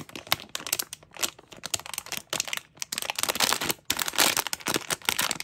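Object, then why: Sealed plastic foil bag with a small toy inside. A small sealed, printed plastic-foil mystery bag with a toy inside is held in both hands and crinkled and scratched with long painted nails. Bright, dry crinkling and scratchy crackles come in dense bursts with short pauses, growing fuller and louder toward the end, with almost no low end.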